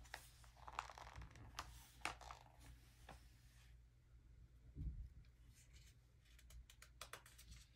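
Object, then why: Glossy paper magazine. An open early-2000s glossy paper magazine lies flat on velvet cloth while fingertips and a palm rub and smooth its pages, then turn them. Soft, bright papery swishes and crinkles stand out over a low, steady hum, and a deeper thump of page movement lands near the middle.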